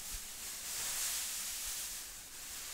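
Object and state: Nothing is struck.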